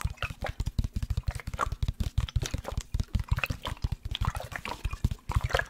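Fingertips and nails rapidly tap and scratch along the side of a large, hollow black plastic sports water bottle with a blue cap that holds liquid. The result is a quick, steady run of soft, deep, hollow thumps that die away almost instantly, with faint bright scratching and liquid sounds between them.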